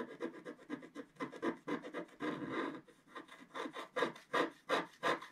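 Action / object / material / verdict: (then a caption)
scrape / wax-coated scratch art paper scraped with a wooden stylus / waxed paper / none. A wooden stylus scratches leaves into the lower left of a flat page of wax-coated scratch art paper. It makes a quick, uneven series of short, dry rasping strokes with a papery midrange texture and no low end. The strokes stop almost instantly between passes.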